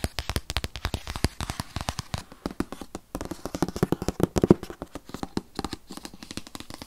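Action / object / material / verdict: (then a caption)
tap / rigid paperboard box / cardboard / none. Fingernails tap rapidly on the front and side of a rigid, tablet-sized white paperboard box that holds an 8th-generation 2020 iPad. Dozens of quick, dry, hollow taps follow one another with no ring, their sound mostly low and mid with little high-end brightness.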